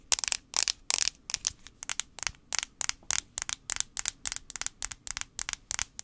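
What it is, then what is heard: Plastic phone back. A fingernail taps quickly on the plastic back of an iPhone 5c, making 27 sharp, bright clicks in an uneven rhythm. Each tap is very short with almost no ring, and the sound is mostly high-pitched with little low end.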